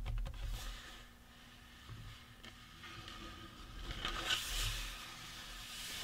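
Fingertips and nails scratch and tap the cranium and cheekbones of a life-size painted resin or plastic Halloween prop skull. Soft, bright scratching hiss runs throughout over a low rumble, with light taps near the start and a louder, brighter scraping swell toward the end.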